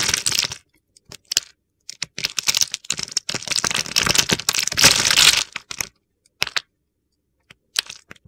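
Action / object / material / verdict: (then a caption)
scrape / soap bar cut with a blade / soap / none. A utility knife blade slices pre-scored small cubes off a solid, opaque, green stamped bar of soap, palm-sized and held in the hand. Crisp, bright cracking and crunching cuts come in uneven bursts, some running together into gritty scraping. Short pauses of silence fall between them.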